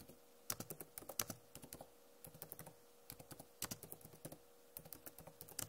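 Long nails tap across a backlit Acer laptop keyboard with plastic keycaps, making quick, bright clicks in short bursts with brief pauses between. Each tap is crisp and dies away almost instantly over a faint steady hum.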